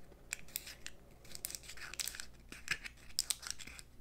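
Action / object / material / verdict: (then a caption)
scrape / hollow eggshell confetti egg / eggshell / none. Long nails scratch and tap the intact surface of a purple-dyed hollow eggshell confetti egg held in both hands over an egg carton. Quiet, bright scratchy rustling is punctuated by sharp, crisp ticks with almost no ring. The shell stays uncracked throughout.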